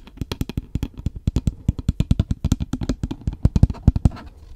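Fingernails tap and scratch a hollow, apparently empty paper takeaway coffee cup with a plastic lid, on both the lid and the paper body, held close to the microphone. About thirty quick, dull, low-pitched knocks come in an uneven rapid patter, each dying away almost at once, with faint scratching between them.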